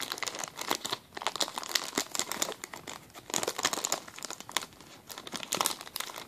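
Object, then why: Thin plastic zip-lock bag. A clear, empty plastic zip-lock bag on a table is crinkled and squeezed by fingertips. Dense, bright crackling and crinkling come in quick bursts with almost no low end, each crackle dying away instantly.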